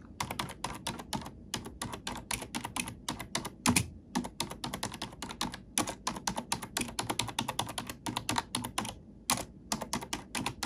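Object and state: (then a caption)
Plastic computer keyboard. A plastic computer keyboard's black keycaps are pressed close-up with an index fingertip and a long nail, tapping and typing in a steady run of dozens of quick, bright clicks. Each key strike is short and crisp with a soft low thud underneath, and one noticeably heavier press lands partway through.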